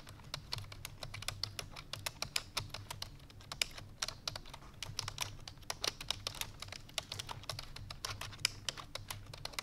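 Fingertips with long painted nails rapidly press the keys of a full-size black plastic computer keyboard resting on a white fur rug. The result is a fast, continuous stream of short, bright, clicky typing taps that stop dead with no ring, over a faint low hum.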